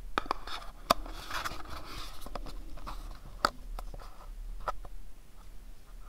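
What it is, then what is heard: Cardboard pyramid box. Fingertips and nails tap and scratch the faces of a small, hollow, pyramid-shaped printed cardboard box. Irregular, dry, clicky taps with no ring are heard over soft, papery scratching and a faint low hum throughout.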